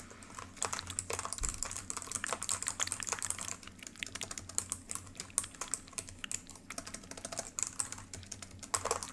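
Long pink acrylic nails and fingertips type rapidly on the solid built-in keys of a black plastic ThinkPad laptop keyboard. Dense, irregular streams of short, bright plastic clicks and taps run throughout, over a faint steady low hum.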